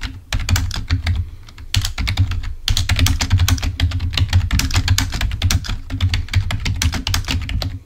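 Both hands tap with their fingertips on a full-size black plastic Microsoft keyboard, which has its cable attached and rests on a table. A rapid, steady stream of short clicky keystrokes is heard, each with a dull low thump and a bright tick, broken by brief pauses before the typing resumes.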